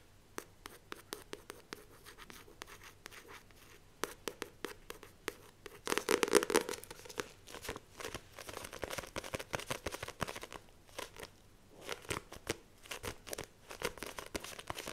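A "The Famous Five" paperback, a solid stack of paper with a glossy card cover, is held in both hands while long lilac-painted nails tap and scratch its front cover. Quick, dry, bright clicks and scratchy scraping come in rapid, uneven bursts, with a louder stretch of dense scratching around the middle.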